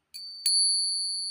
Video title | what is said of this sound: Alamin sa tunog pa lang malalaman mo kung Silver o Hindi, TRADITIONAL SILVER TESTING o Ping Test | Naiiwan ang kanyang echo